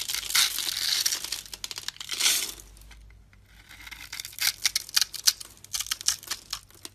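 A metal blade scrapes and cubes a solid brown soap bar held in the palm, its surface scored into a grid so small brown cubes break off and fall. Bright, dry scraping and crinkly crunching fill the first half, then a brief near-silent pause. A run of sharp, crisp cutting snaps follows.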